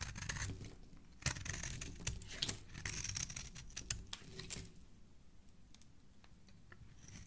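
A metal utility blade scrapes across the face and edge of a palm-sized solid red bar of soap held in the hand, shaving off curls and flakes. The first few seconds are a dense, bright, crackly scraping with sharp tearing bursts. The scraping then thins out to a quieter stretch of sparse little ticks and crinkles.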